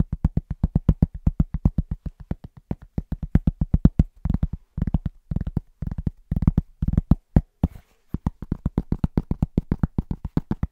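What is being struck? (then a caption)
Flat round cork trivet. Both hands tap a large, round, flat, solid cork trivet held upright, using the fingertips with short nails in a fast, rhythmic pattern. About sixty short, dull, low thuds are heard with almost no ring or brightness. The taps come in quick bursts with brief pauses near the middle and just before the end.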